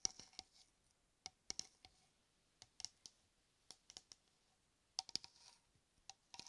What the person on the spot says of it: 05:24 – 08:15 Tapping and scratching shaving cream can